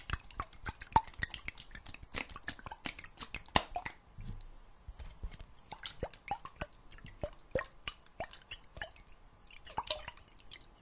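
A clear glass jar, partly filled with water and closed with a metal lid, is tilted and shaken so the water sloshes inside. The sound is a quick run of sharp, wet drips, splashes and small plops with a bright, clicky edge and a faint ringing tone around 1 kHz, with brief quieter pauses between bursts.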